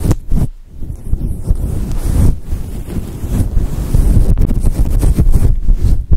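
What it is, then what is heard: Faux fur microphone windscreen. Long acrylic nails scratch and brush a fluffy grey and white synthetic fur windscreen covering a microphone. The result is a continuous, muffled, low rumbling rustle that sounds like wind buffeting the mic, with almost no high end.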